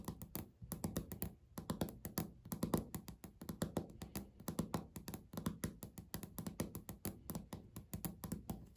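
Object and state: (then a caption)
Laminate countertop, solid. Natural fingernails tap and scratch across a solid, flat, speckled beige laminate countertop. A steady stream of quick, dull, close-sounding taps carries a low, woody thud with a soft, pitched body. Each tap dies away almost instantly, with only faint bright clicks on top.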